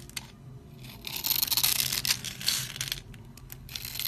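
A utility blade scrapes and crushes the scored surface of a dry, solid orange and white striped soap bar held in hand, breaking it into crumbs. Bright, dry crunching and crackling scrapes build in irregular bursts, loudest through the middle of the clip before easing into softer scratches.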